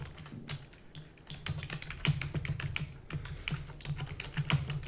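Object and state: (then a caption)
Plastic computer keyboard being typed on. A full-size black plastic computer keyboard with hollow keys is rapidly typed with the long nails and fingertips of both hands. A dense, quick stream of short clacks follows, each with a hollow, low thump near 145 Hz and a bright click on top that dies away almost at once.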